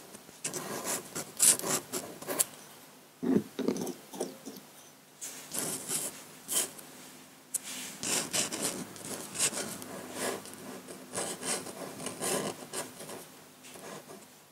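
A metal nib in a long wooden pen holder scratches ink lines onto a large flat sheet of white drawing paper resting on a table. Short, dry, bright scratching strokes come in irregular bursts separated by brief pauses, with little low-end weight and no ring after each stroke.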